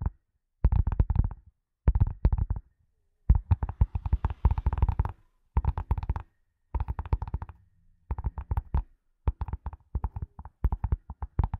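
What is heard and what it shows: A leather glasses case is tapped in quick bursts of soft, dull taps separated by short silences. The sound is deep and muffled, with almost no high end and no ring after each tap.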